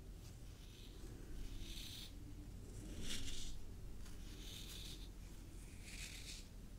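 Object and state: Nothing is struck.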